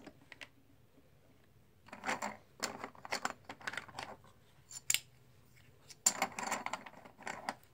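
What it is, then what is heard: Plastic poker chips being stirred and stacked. Hands stir a loose pile of solid plastic/composite poker chips and stack black chips with fingertips and nails. Short, bright clicking bursts with quick, dry clatters come in clusters, separated by brief quiet gaps.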